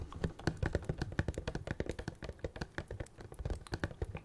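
Rapid fingertip and fingernail tapping on the front and sides of a small Star Wars Funko Pop box, made of printed cardboard with a clear plastic window and a figure inside, held in both hands close to the mic. Dozens of quick, dry, hollow taps land in an uneven rhythm, each dying away almost instantly, with a dull low body and faint bright clicks from the nails.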